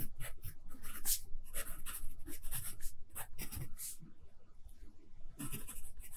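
A graphite pencil scratches steadily across the page of an open lined paper notebook lying flat. The sound comes as dry, irregular strokes with bright, hissy upper edges and short bursts separated by brief pauses.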